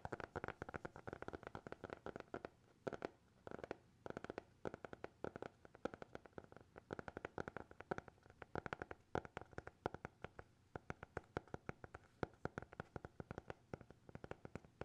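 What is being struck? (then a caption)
Closed hardcover notebook. A small, closed black hardcover notebook is held upright while fingertips and nails tap and scratch its cover. The result is a quiet, continuous run of quick, dry taps with scratchy strokes between them. Each tap is short and dies almost instantly, with a midrange tone.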